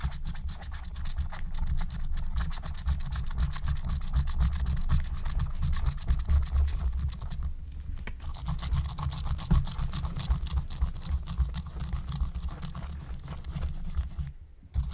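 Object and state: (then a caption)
Scratch-art paper being scratched. A wooden stylus scratches fast strokes across a thin black-coated scratch-art card lying flat. The result is a dense, steady rasping with a strong low rumble underneath and brief pauses near 7.5 and 14.5 seconds.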